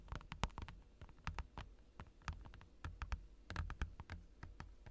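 Fingertips of both hands tap and lightly knock on a large, clear plastic desk mat lying on a desk. A quick, uneven run of short, dry taps follows, each a soft low thump with a bright click on top that dies away almost at once.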